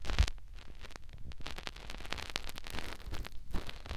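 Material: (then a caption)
Silicone. Fingertips rub and scratch a white silicone ear mounted on a plastic binaural microphone. The result is close, dense rustling and crackly scratching with a deep, muffled rumble underneath and bright clicks, opening with a louder thump and continuing in a steady, busy texture.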